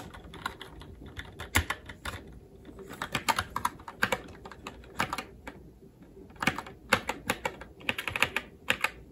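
Fingertips type on a SteelSeries Apex 7 TKL mechanical keyboard with red linear switches, plastic keycaps and a metal top plate, with the hands shifting position near the end. Quick bursts of bright, sharp plastic clacks come in uneven runs separated by short pauses, each stroke dying away almost instantly.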